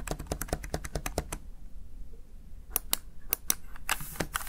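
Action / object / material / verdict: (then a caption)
tap / plastic keypad keys / plastic / none. Fingertips tap and press the backlit keys of a Razer Tartarus Chroma plastic gaming keypad. A quick run of sharp, dry clicks gives way to a brief quiet pause, then sparser, bright clacks resume. Each click stops almost instantly with no ring.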